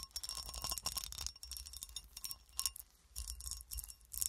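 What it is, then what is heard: Cut glass horseshoe tapped and scratched with nails. Long nails tap and scratch across the ridged cuts of a solid, textured cut glass horseshoe held in the hand. Quick, bright clicks and raspy scrapes come in dense bursts with small pauses, each tap ringing only briefly with a faint high glassy tone.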